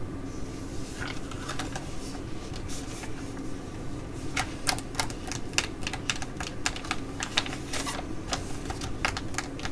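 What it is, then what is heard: Plastic sheet mask packet. Long nails tap and scratch a black Galantry laminated plastic sheet mask packet that has been folded and then opened flat. Sharp, bright clicks and crinkly scrapes pop irregularly over a steady low hum. A faint tone sits near 1.2 kHz underneath.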